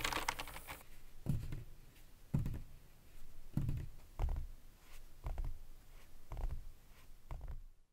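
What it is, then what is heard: Mechanical keyboard with plastic keycaps. Gloved fingertips type and press the keys of a full-size black Razer BlackWidow Elite mechanical gaming keyboard, which has plastic keycaps on a metal top plate and a padded wrist rest and lies on a white table. A brief bright, rustly burst opens the clip, then slow, irregular keystrokes land as dull, low thumps with short clicky tops that die away quickly.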